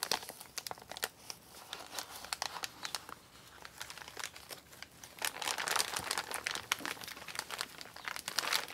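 Hands with long pink nails press, rub and crinkle an empty brown recycled kraft paper Amazon mailer bag with a barcode sticker and handwriting, lying flat on a table. Dense, bright paper crinkling and sharp crackles fill the clip with almost no low end, and the crackling swells louder and busier from about five seconds on.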